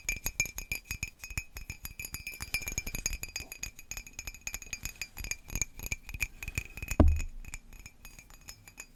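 A slightly chipped ceramic mug with a sailboat scene, used for herbal tea, is tapped in a rapid, steady run of bright, glassy clinks that ring only briefly. Near the seventh second, one louder, heavier knock stands out before the taps soften toward the end.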